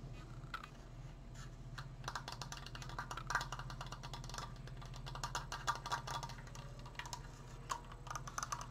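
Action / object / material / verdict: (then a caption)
tap / wooden slat frame / wood / none. Painted fingernails tap quickly along the top slat of a large, open, triangular triforce frame made of wooden slats, held in front of the mic. The result is a rapid, uneven stream of dry, clicky wooden taps with a hollow tone around 1.2 kHz and very short decay. A steady low hum runs beneath them throughout.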